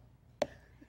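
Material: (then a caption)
Pumpkin rind. A pumpkin in a pumpkin patch is slapped by hand to test its ripeness. The single short, hollow thump has a midrange tone near 590 Hz and dies away almost at once. The hollow sound marks the pumpkin as ripe, even though it may still be green.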